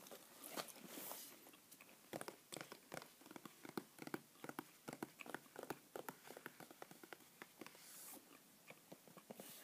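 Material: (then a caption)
Cardboard. A small, hollow white printed cardboard mailer box, empty-looking, is held in one hand and tapped and scratched with the fingertips and nails of the other while it is turned to show its sides. Quiet, dry, crisp taps and scratchy brushing come in quick irregular bursts, with short bright hissy scraping stretches near the start and end.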